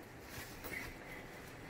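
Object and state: Nothing is struck.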